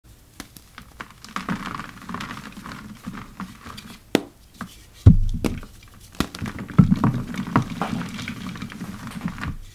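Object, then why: Heap of gym chalk blocks and powder. Two hands in yellow rubber gloves press their fingers into a large, dry heap of purple dyed gym chalk (magnesium carbonate), loose powder with crumbly chunks, crushing and crumbling it. The result is a soft, low, muffled crunching and pattering, broken by a few sharper, louder crunches as chunks give way midway through.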